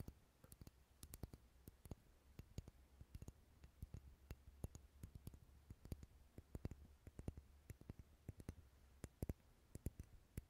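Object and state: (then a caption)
Wax candle. Wax candles sitting in a bowl as decoration, rarely lit, are tapped repeatedly. The taps are short, dense clicks with almost no ring, scattered irregularly over a low, steady hum.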